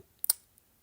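A large plastic door panel on a 2021 Hyundai Elantra is tapped, giving a short, bright, dry click with almost no low end and no ring. It sounds hollow, which makes the panel feel cheap compared with the older design, where more of the door was fabric.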